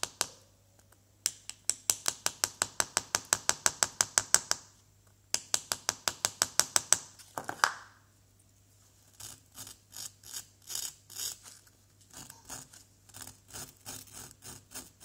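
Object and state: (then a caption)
Plaster block being scraped. A pointed wooden chisel held in the fingers scrapes and scratches a small, solid yellow plaster dig-kit excavation block resting on cardboard. Two bursts of rapid, bright, dry scraping strokes with a short pause between them give way to softer, quicker scratching. A faint steady low hum runs underneath throughout.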